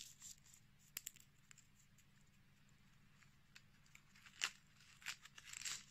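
A small, dark red dried rose bud is held in the hands while its petals are pulled, crumbled and rubbed between fingertips and short nails. Quiet, dry, bright crackling and tearing comes in irregular short bursts, the loudest near the end, over a faint low steady hum.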